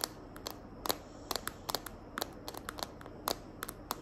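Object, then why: Plastic phone case. Long nails tap and scratch the back of a small hand-held smartphone in a green glitter plastic case. About 16 sharp, bright clicks come at an uneven pace, each dying away almost at once, over a quiet, steady hiss.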